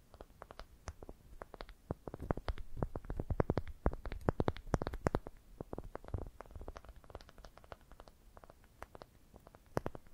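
Long dark painted nails tap and scratch around a smooth, light-colored solid wooden ball about palm size, cupped in the hands. Dozens of quick, dry clicks come at an irregular pace over soft scratching and a low, muffled body. They grow louder and denser in the middle before settling back to lighter taps.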